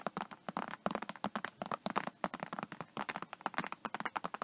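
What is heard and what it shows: Long nails scratch and tap rapidly across the embossed scales of an iridescent faux snakeskin vinyl iPad case, with the hand moving toward the edge at the end. About 28 short, dry clicks and scrapes sit mainly around 1.2 kHz with bright tops, each dying out almost instantly.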